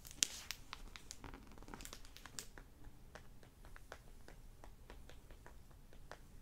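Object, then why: Hardback book with plastic-covered dust jacket. A hardback library copy of the novel "One Shot," with a crinkly plastic-covered dust jacket, lies on a wooden table and is turned from its orange back cover to its front while fingertips and short nails tap and crinkle the cover. Quiet, bright plastic crinkling fills the opening, then gives way to a steady run of short, crisp clicks and taps with almost no ring.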